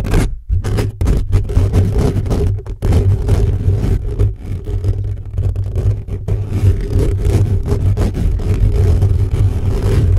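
Fingertips and short nails of both hands scratch fast and aggressively across the hollow metal mesh grille of a large black USB condenser microphone on a stand. The sound is a dense, continuous, boomy scraping rumble, almost entirely low-frequency around 100 Hz, with rapid overlapping strokes and a steady loud level throughout.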